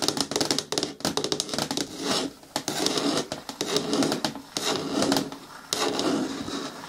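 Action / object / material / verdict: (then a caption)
tap / hard plastic bin with lid / plastic / none. Long nails tap quickly on the lid rim and side of a hollow, hard green plastic bin with a lid. The result is a rapid, uneven run of short, bright clicks with a hollow midrange knock. Brief rasping scratch-like stretches sit between the bursts of tapping.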